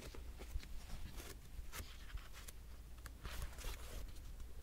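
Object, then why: Hardcover paper notebook. Fingertips rub and flip the pages of a grey patterned hardcover paper diary. Soft, dry papery rustles and brief bright swishes come and go over a steady low hum.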